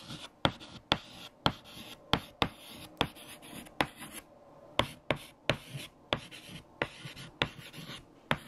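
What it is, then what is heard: Chalk writing on a chalkboard. Fingertips hold a stick of white chalk and write words on a large, flat black chalkboard. Bright, scratchy strokes are punctuated by 14 sharp, quick taps as the chalk strikes the board surface. Short pauses fall between the strokes.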